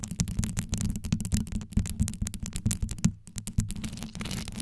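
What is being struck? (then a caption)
Rhinestone-covered metal microphone grille. Long yellow nails scratch quickly over a metal microphone grille covered in small rhinestones, while both hands grip the mic head. The result is a dense, rapid stream of scratchy clicks over a deep, boomy, low-heavy rumble, with bright crackles on top. There is a brief lull just past the three-second mark before the scratching picks up again.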